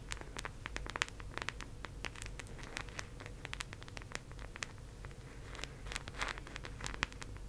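Long acrylic nails tap and scratch the face and rim of a teal, round, hollow plastic disc case held in both hands. Quick, bright clicks and scratchy scrapes follow one another over a steady low hum. Each tap dies away almost at once, with a hollow plastic tone centered near 1.9 kHz.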